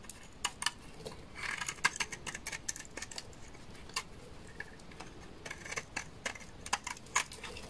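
A large, solid, dry beige laundry soap bar is shaved with a utility knife blade, sending curls falling. The clip is a quick run of crisp, dry scraping clicks and short rasping strokes with a bright, papery edge and little low end, all of them brief and without any ring.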